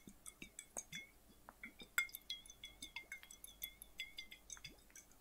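A flat, clear, hollow glass bottle partly filled with water is held sideways in both hands and tilted while fingertips and nails tap it. The result is a quick, irregular series of short, bright glassy clinks with a ringing tone near 2 kHz, over soft sloshing of the water inside, all at a quiet level.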